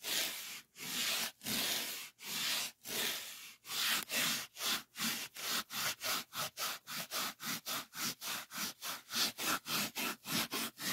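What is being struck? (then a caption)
Polyethylene foam packing sheet. A solid white polyethylene packing foam sheet is scratched and rubbed with fingertips. It makes a bright, airy, squeaky scraping that starts as a few long, slow strokes. The strokes then quicken into a steady run of short, rhythmic rubs, each ending in brief silence.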